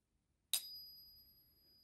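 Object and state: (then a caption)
Genuine 90% silver coin. A 1964 Kennedy half dollar, 90% silver, is tapped once on a coin ping tester. It gives a single bright, high-pitched ping with an even higher overtone, and the clear tone rings on for over a second. The long ring marks it as a real silver coin.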